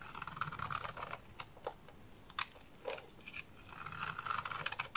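A small blade scrapes and cuts curls off a solid purple oval bar of soap with an embossed logo. Soft, bright, dry scraping and crisp little cuts come in bursts, with quiet pauses between them.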